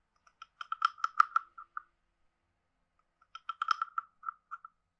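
A wooden stick is scraped along the ridges of a hand-sized, hollow, carved wooden frog guiro and tapped on it. Two bursts of quick, dry, hollow clicks, each lasting about a second and a half, are separated by a pause. The clicks center on a woody tone around 1.3 kHz with brief bright edges and almost no ring.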